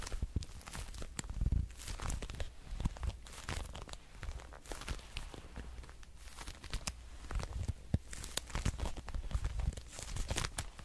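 A dark red glossy patent leather wallet is scratched and tapped with long nails, giving a dense run of short, dry taps and crinkly scratching over a low rumble. The strokes come in quick bursts with occasional brighter clicks and no ring.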